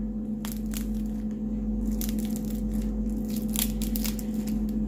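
Air-fryer roast pork belly (moo krob) is broken or cut, and its skin gives off sharp, crisp crackles over a steady low hum. The crackling shows the skin crisped well without sun-drying.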